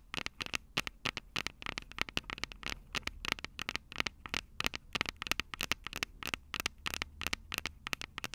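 Long purple nails tap and scratch the two silver metal mic capsules on the plastic body of a Tascam DR-05 handheld recorder. Rapid, crisp clicks and ticks come in an irregular stream with a bright, dry character and almost no ring, over a faint low rumble.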